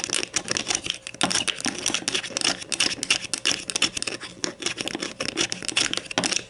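A grey plastic deodorant stick, held on its side on a table, is tapped and scratched on its back and cap end with long nails. The result is a steady run of quick, bright plastic clicks and dry scratching, mostly high-pitched with almost no low end. Each click dies away almost instantly.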